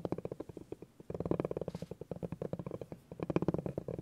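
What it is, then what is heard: Bamboo cutting board under a rolled rubber ball. A spiky orange rubber massage ball is rolled and pressed across a flat, solid bamboo cutting board by fingers, making a rumbling, knobbly rolling sound. Dense runs of quick, dull bumps centered in the low-mids come in bursts, with short pauses around the one- and three-second marks.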